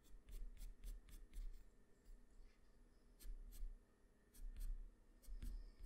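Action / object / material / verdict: scrape / graphite pencil on a sheet of drawing paper / paper / none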